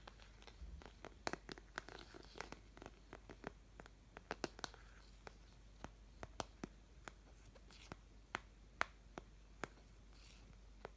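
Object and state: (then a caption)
Plastic paint palette. Long fingernails scratch and tap across the wells of a white, flower-shaped plastic paint mixing palette that is medium-sized, hollow and empty. Many quiet, sharp clicks and light scratches come in uneven bursts, each dying out almost instantly, over a steady low hum.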